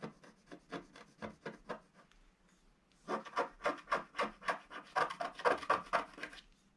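A wooden stylus scratches the black coating of a flat, roughly A4 scratch-art sheet lying solid on a table, working along the bottom border in repeated strokes. About 22 short, dry, rasping scrapes come in a steady rhythm, with a brief quiet pause midway before the strokes return louder and brighter.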